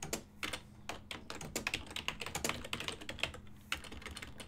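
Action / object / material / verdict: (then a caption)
tap / plastic computer keyboard / plastic / none. Fingertips type on a full-size ergonomic silver and black plastic desktop keyboard with hollow key switches. About two dozen quick, bright, hollow plastic clacks come in an uneven rhythm, each dying away almost at once over a faint steady low hum.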